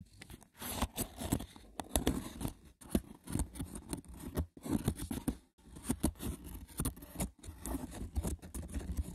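Fingertips with short nails scratch and tap the braided top of a small, hollow, rectangular woven wicker box with a lid. Dry, rough scraping bursts crackle over a dull, hollow low body, broken by brief silent pauses. The rasping texture is close and repetitive, with quick taps that die out almost instantly.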